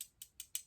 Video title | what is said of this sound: Vlog a Day in May - Day 15 - Latest Amazon and Perfume Purchases - | let me tap it you can hear that it's glass on glass it is a glass jar